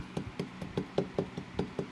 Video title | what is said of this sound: Make Ripped Drywall Look New With These Simple Tips | a hollow spot in here